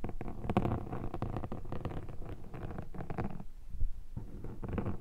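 A metal pick scratches and scrapes a black foam microphone windshield up close. Dense, muffled, low scratchy rustling comes in rapid bursts, with a brief quieter gap near the middle before the scraping resumes.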